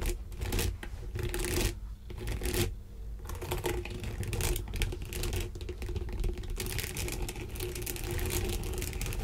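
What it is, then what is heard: Textured sponge glove being scratched. Long green nails scratch and drag across a flat, mitten-shaped textured sponge/fabric contouring glove resting on a bamboo board, while fingertips press and rub its surface. The result is a dense, continuous scratchy rustle of quick, dry strokes with brief quieter pauses and a low, soft undertone.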